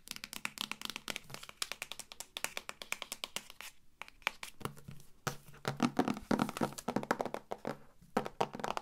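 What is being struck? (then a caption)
Hardcover book with stiff board cover. Fingertips and long nails tap and knock on the stiff, dark patterned cover of a medium hardcover book held upright. The result is a rapid, irregular run of short, dry clicks and hollow knocks that die away almost at once, with a few brief pauses between flurries. The tone sits mostly in the midrange with a bright edge, and it grows louder and denser toward the end.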